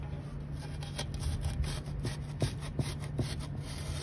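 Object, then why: Crushed charcoal and cement granules in a basin. A steel knife tip held in the fingers scratches and scrapes through a loose heap of small dark charcoal and cement chunks filling a wide grey basin. A steady, low, gritty rubbing runs throughout, broken by several short, sharper scratching ticks.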